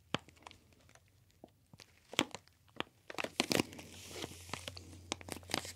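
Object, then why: Plastic retail bag of brown sugar. A full CSR dark brown sugar retail bag, made of plastic, is held beside the ear and crinkled and squeezed with the fingers. Sharp, bright crackles and crunches come in scattered bursts, growing denser and more continuous over the second half with a faint low hum underneath.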